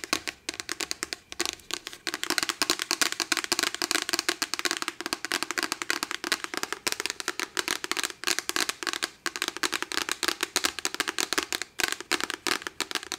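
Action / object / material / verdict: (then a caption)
tap / hardcover paper book with cardboard cover / cardboard / none. A medium hardcover *Dork Diaries* book with a glossy printed cardboard cover, solid and held upright in both hands, is tapped and scratched quickly with fake nails made of metal paper clips. It makes a fast, continuous stream of sharp, dry, bright clicks with short scratchy textures and almost no low end. Each tap dies away almost instantly.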